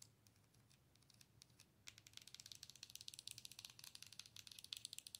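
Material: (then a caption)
Plastic. Long pointed nails tap the side and front of a hollow light-up owl night light, probably plastic, held by its base. A few faint clicks give way, after about two seconds, to a quick run of crisp, bright, dry taps centred around 3.4 kHz. Each tap dies away almost at once, with a faint low hum underneath.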